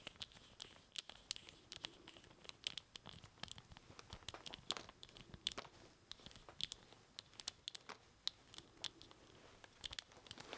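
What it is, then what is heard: Plastic action figure. A small, hollow-bodied plastic Evil-Lyn action figure with a plastic staff is held up in the hands and handled and scratched with the fingertips, while a Castle Grayskull playset sits untouched in the background. The sound is a quiet, steady run of dry, bright crinkly scratches and sharp little plastic clicks centered around 3.5 kHz. Each click cuts off instantly, with almost no low end.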